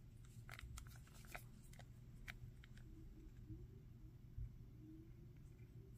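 Fingertips and nails tap and scratch the hair and torso of a Dragon Ball Zamasu plastic action figure, about 15 cm tall, with a hard plastic body and a purple arm. Sharp, dry clicks and brief scrapes come mostly in the first half, with a few scattered taps later, over a quiet, steady low hum.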